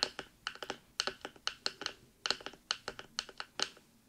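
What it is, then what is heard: Silicone microphone ears tapped and scratched with nails. Long nails rapidly tap and scratch the top and silicone ear area of a black binaural microphone. About twenty sharp, bright clicks with short scratchy bursts follow one another in an uneven rhythm, each dying away almost at once with no low rumble underneath.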